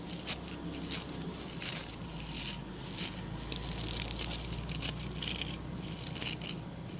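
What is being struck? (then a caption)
Coir bristle brush. Fingertips and nails scratch the stiff brown bristles of a small, round, ring-shaped coir (coconut fiber) brush held by its pink handle. The result is a steady, dry, high-pitched crackling patter with brief brighter bursts over a low background hum.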